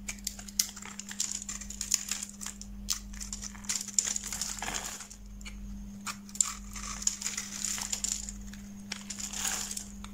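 A utility knife blade cuts and shaves crumbly flakes off a solid white bar of soap with a yellow-rimmed edge, held in the hand. Dense, bright crackling and crinkling scrapes come in rapid bursts, with a steady low hum underneath.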